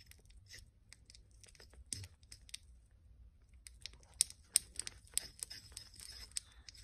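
A porcelain pestle is rubbed and ground in circles against the inner wall of a small white porcelain mortar, partly filled with cream paste and held by one hand. Quiet, bright scraping and crisp, irregular ticks repeat throughout, each dying away almost instantly. A few sharper, louder clicks stand out in the second half.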